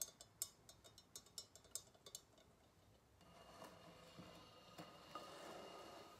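A liquid-filled glass Galileo thermometer with glass floats is tapped with long nails as it is tilted from horizontal to upright on a table. About thirteen quick, bright ticks come first, each dying away almost at once. A steadier, hushed rubbing and sloshing wash follows, with the glass bulbs inside clinking now and then.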